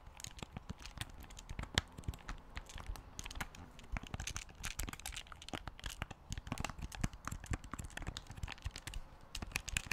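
A large black plastic Wii U gamepad with a screen is held in both hands while its buttons are clicked and its shell is tapped with fingertips. The result is a rapid, dense stream of short, dry plastic clicks and taps, with bright crisp edges over a soft low thump and almost no ring.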